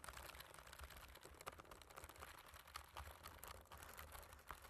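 Fingertips of both hands type on the black plastic keys of a computer keyboard. A steady, irregular stream of short, dry clicks and taps with bright edges and a soft low thud beneath them continues throughout.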